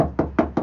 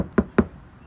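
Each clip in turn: First: undamped car trunk lid that resonates. Second: solid, well-damped car trunk panel.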